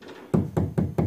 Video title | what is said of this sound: VW GOLF combined repair - VW GOLF комбинированный ремонт | раньше стучишь она звенела так что все в порядке